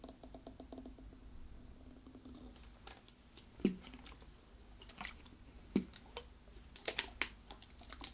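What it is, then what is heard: Plastic drink bottle partly filled with liquid. A brown PET plastic drink bottle with a green cap and yellow label, partly filled with liquid, is held in both hands while fingertips and nails tap the bottle and cap and it is tilted so the liquid moves. The result is quiet, irregular, bright clicks and taps with a few sharper knocks over a steady low hum, with the liquid shifting faintly inside.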